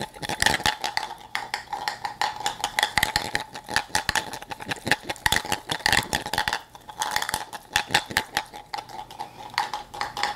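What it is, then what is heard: Plastic cup with loose beads inside. A hollow plastic toy cup with a clear chamber of loose beads is held in one hand and shaken, making the beads rattle inside. The sound is a fast, dense stream of bright, clicky rattles with a steady ringing tone near 1.9 kHz, briefly dipping quieter around the middle before picking up again.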